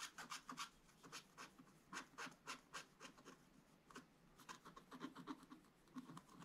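A wooden stylus rubs and scratches across a black-coated scratch-art paper page to fill in an area. Quick, dry, bright scratching strokes repeat at an uneven pace of about three to four per second, each short and quiet.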